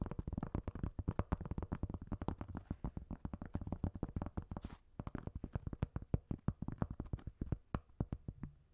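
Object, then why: Cork coaster. Fingertips and nails tap and scratch the porous surface of a round, flat, solid cork coaster held in the hand above another cork coaster. About 59 quick, dull, dry taps come in a steady, fast patter, mostly low in pitch. A brief scratching hiss is heard near the middle.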